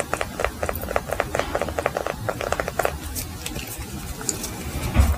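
A small solid yellow beeswax block, held in both hands, is tapped and scratched with fingernails on all sides. A quick run of crisp, dry taps with a hollow midrange knock fills the first three seconds. It gives way to softer scratching and rustling, with a low thump near the end.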